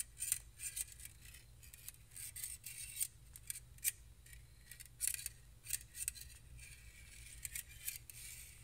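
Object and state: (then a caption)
Stainless steel wire whisks. Two stainless steel balloon whisks with hollow open wire loops, held one in each hand, are scratched and tapped against each other with fingertips and the wires themselves. The result is a run of bright, thin metallic scratches and quick clicking taps that die away almost instantly, over a faint low hum.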